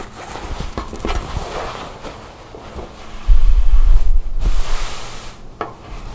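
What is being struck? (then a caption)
Cotton cloth garment. Fingertips and long nails rub, scratch and bunch a tan cotton garment lying on a table, producing soft, bright scratchy rustling with a few light taps. Midway the fabric handling grows louder, adding a low thumping rumble before settling back to quiet scratching.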